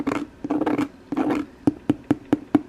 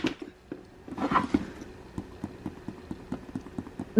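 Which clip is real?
The second.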